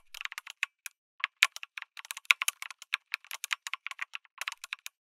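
Fingertips type on a backlit mechanical keyboard with a white case and red and grey plastic keycaps. Rapid, irregular keystrokes make sharp, bright clicks and clacks with almost no low end, each dying away at once.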